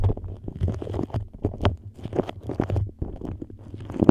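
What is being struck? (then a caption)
Beeswax-coated cotton food wrap. Long nails scratch and tap a yellow beeswax-coated cotton food wrap moulded into a dome over a microphone. The result is a close, dull run of crinkly scrapes and soft taps, heavy in low rumbling tones, with no ring after each touch.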